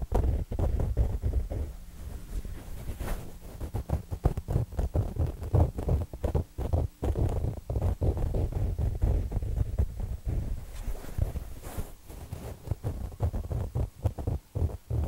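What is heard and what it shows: A square, soft, stuffed throw pillow with a printed fabric cover is held between two mics while its top edge is pinched and scratched with fingertips and nails. The result is a steady run of close, muffled rustling and scratching, with quick fabric scrapes over a deep, boomy low end.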